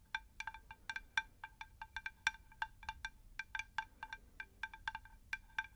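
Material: Terracotta.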